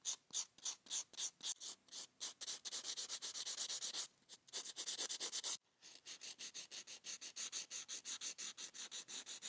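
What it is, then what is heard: Foam buffer block rubbed on fingernail. A neon-green rectangular foam-core sanding buffer block, held in a black-gloved hand, is rubbed back and forth across short natural fingernails. Dozens of quick, bright, hissy scratching strokes follow one another in a steady rhythm, with brief pauses near 4 and 5.5 seconds. The sound is almost entirely high-pitched, with no low end.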